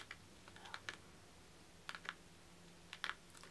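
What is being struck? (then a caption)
Leather-covered journal. Fingertips and short nails tap and scratch the cover of a medium tan leather-covered journal with a stitched spine, the solid book held upright. About ten quiet, irregularly spaced dry clicks and light scrapes come in small clusters, each fading almost instantly over a faint steady low hum.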